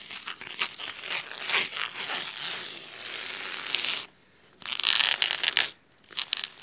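Fingernails scratch the cloth spine of a thick navy fabric-bound hardcover book, making crisp, bright, dry rasping and crinkling strokes with no low end. The scratching runs in rapid bursts, pauses briefly twice, and resumes in louder, sharper passes.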